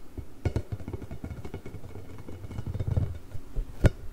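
A large pink hollow inflated rubber ball with nubs is held beside the microphone and scratched and tapped with fingertips and nails. Soft, dull, low thumps and brushing scratches come in an uneven stream, with a sharper tap near the end, and each sound dies away almost instantly.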